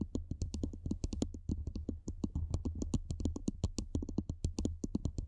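Long manicured nails tap and scratch the sides of a hollow black cylindrical metal microphone body above a foam windscreen. The result is a rapid, steady stream of short, dry clicks, each with a bright tick over a dull low thump, riding on a constant low rumble.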